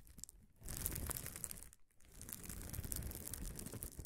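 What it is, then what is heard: Bubble wrap sheet being scratched. A large flat sheet of gold-tinted, air-filled plastic bubble wrap lies on a table while both hands scratch and rub its surface with fingertips and nails around a field recorder that sits untouched on the sheet. The result is a dense, irregular crinkling and scratching texture with a deep, muffled low rumble and bright, crackly highs. It stays steady apart from two brief quiet gaps.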